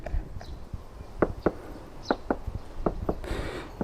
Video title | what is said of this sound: ガチのデッドニング、叩いて水かけて静粛性向上の効果（防音・吸音・制振）まるで高級車の静粛性！トヨタ・ウィッシュ | コンクリートというかね樹脂みたいな感じになっています